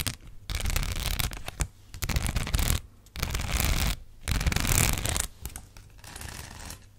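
Long black acrylic nails scratch across the studs of a thin, flat gold rhinestone sticker sheet. The result is bursts of dense, gritty scratching, each a second or so long and separated by brief pauses. The sound is bright and crackly on top over a heavy low rumble.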